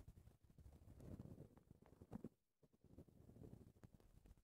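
Long red-painted nails and fingertips scratch and rub a soft, porous black foam windscreen on a recorder microphone. The result is a close, muffled, low-heavy crackling and rustling that pauses briefly to near silence midway before resuming.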